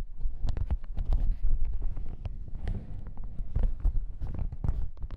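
Fingertips tap and scratch a folded yellow plastic hazmat suit lying on a table. A dense run of quick taps and crinkly scrapes rides over a steady low rumble, with sharp bright ticks poking through. The short crackles die away almost instantly.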